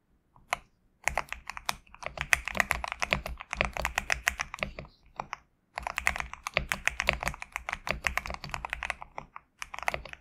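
A GMK67 compact mechanical keyboard with PBT plastic keycaps, resting on a desk mat, is typed on with fingertips. Rapid, short, bright clacks run in dense bursts centered around 2 kHz, with little low end and a brief pause near the middle of the clip. Each keystroke dies away almost instantly.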